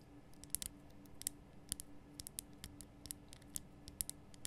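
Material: Rock salt.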